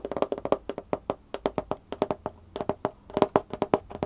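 Long painted fingernails and fingertips tap and scratch the top and side of a large, empty-looking corrugated cardboard shipping box with its flaps partly closed. About 26 quick, dry taps come in uneven bursts, each giving a short hollow thump with a boxy resonance near 400 Hz that dies away almost at once.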